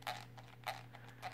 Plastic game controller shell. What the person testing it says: vraiment du plastique bas de gamme et alors j'ai pas si vous entendez mais ça ça craque wall e le plastique craque c'est horrible